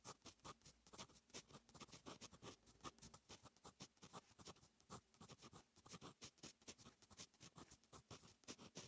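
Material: Paper.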